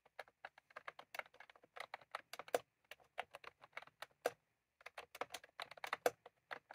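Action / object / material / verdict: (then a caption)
tap / plastic computer keyboard with round keycaps / plastic / none. Fingertips of both hands type continuously on a full-size plastic computer keyboard with round cream typewriter-style keycaps, resting on a desk. About thirty short, crisp clicks come in quick, uneven bursts with a brief pause partway through. Each keystroke is dry and bright with almost no ring.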